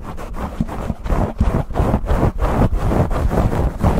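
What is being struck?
Foam microphone windscreen.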